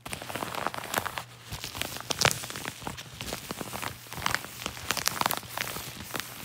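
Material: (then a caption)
Paper. Fingertips rub and scratch across a crinkled yellow kraft-paper padded mailer envelope resting on a lap. The result is a steady, bright crinkling and scratching texture with quick dry crackles. A few sharper, louder scrapes stand out around the two- and five-second marks.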